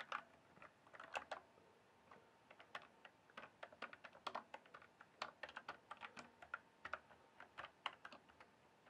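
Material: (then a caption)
Plastic. Fingertips type and tap on the keys of a full-size RGB backlit plastic mechanical keyboard with a hollow case. An irregular run of dozens of short, sharp clicks with a hollow, bright clatter centred near 1 kHz, each dying away almost at once over a quiet background.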